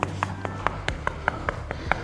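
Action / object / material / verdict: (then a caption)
knock / concrete apartment wall / concrete / solid. A hand knocks ten times in quick succession on a solid concrete wall shared between apartments. The knocks are short and dry, with almost no ring, and sound solid rather than hollow, as expected for a concrete wall.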